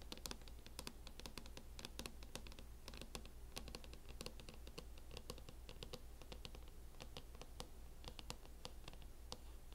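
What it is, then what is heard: Plastic laptop case tapped and scratched with nails. Long nails tap and scratch the lid of a closed laptop in a teal matte plastic hard-shell case. Quick, dense, crisp clicks and scrapes continue throughout over a low steady hum.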